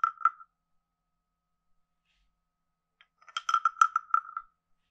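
A wooden stick taps and scrapes the ridged back of a hand-sized, carved, hollow wooden frog guiro. A brief cluster of hollow, woody clicks pitched around 1.3 kHz is followed by about two and a half seconds of silence. Then comes a longer run of quick, uneven taps and ratchety scrapes, each dying away almost instantly.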